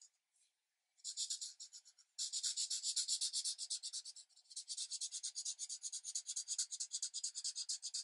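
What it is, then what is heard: Marker rubbing on paper. The felt tip of a green alcohol marker, held in the hand, rubs back and forth across a thin paper coloring book page lying flat on a light pad. A quick, fairly steady series of soft, bright, hissy scratching strokes is heard, with almost nothing in the low range. A short pause comes early before the strokes continue without stopping to the end.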